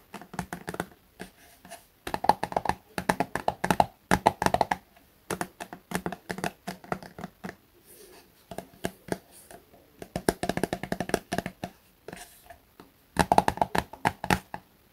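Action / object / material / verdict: tap / soft plastic cosmetic tube / plastic / none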